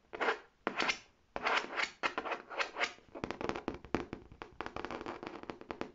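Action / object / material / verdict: scrape / faux leather tote bag / faux leather / none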